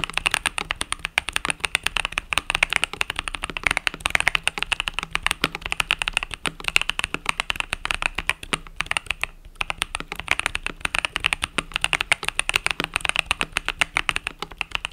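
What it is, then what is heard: Mechanical keyboard with plastic keycaps. Fingertips type rapidly on the plastic keycaps of a compact mechanical keyboard with pastel purple and yellow keys, producing a dense, continuous stream of crisp, bright clicks and clacks. One brief pause breaks the typing just before the middle, and there is almost no low end or ring after each keystroke.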